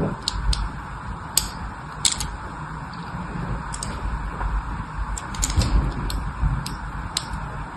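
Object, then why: Bar of soap scored with a small blade. A small craft blade scores lines along the edges of a solid white bar of soap held in the hand. Short, bright scratching clicks come in irregular bursts over a steady low rumble and hiss.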